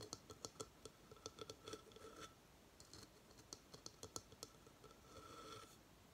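Long fingernails scratch and tap a hollow coconut shell hamster hideout with bedding inside, resting on a table. The result is a rapid run of short, dry, bright clicks and scrapes with a faint hollow ring near 1.3 kHz. It ends in a softer, steadier scratching stretch.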